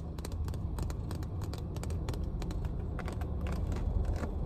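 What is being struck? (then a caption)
Plastic water bottle. Long nails tap and scratch the body and ridged bottom of a full clear plastic water bottle inside a car. Quick, bright clicks and scrapes come in rapid irregular bursts over a steady low rumble that fills the clip.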